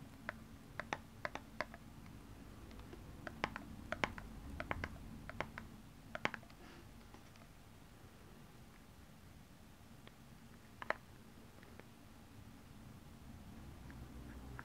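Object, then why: Small plastic tub with a flat lid. Long purple nails tap and scratch the flat lid of a small, round, clear plastic tub filled with blue and pink glitter slime. Sharp, bright clicks come in quick clusters over the first seven seconds, then thin out to a few isolated taps over a steady low rumble.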